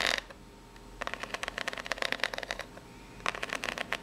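A small, hollow brown corrugated cardboard box is held up while the long pink natural nails of both hands scratch along its ribs. Quick, dry, bright scratching ticks come in bursts, a brief one at the start, a longer run through the middle and another near the end. Each tick stops almost instantly, with no ring.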